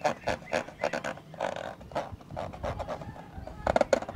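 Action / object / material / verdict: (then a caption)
scrape / plastic camcorder lens hood / plastic / none. Fingertips and short nails scratch and rub inside a hollow, black plastic rectangular lens hood on a professional camcorder, held in the other hand. The result is a string of short, raspy scratching bursts centered in the midrange, with a hollow, grunting tone. A louder cluster of scrapes comes near the end.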